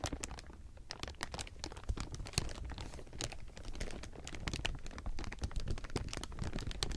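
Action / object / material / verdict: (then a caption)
scrape / thin plastic sheeting / plastic film / none. A large heap of thin, clear plastic sheeting is squeezed and crumpled with the fingers, giving a steady run of dense, bright crinkles and crackles over a low rumble. The sharp, quick snaps keep coming without pause for the whole seven seconds.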